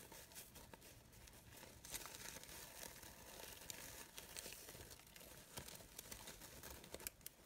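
A glittery green synthetic fabric rose brooch on a wooden table has its crinkled petals rubbed and handled with fingers and long nails. The result is a steady, soft, bright crinkling and rustling with many quick, dry crackles and scratchy ticks and almost no low end.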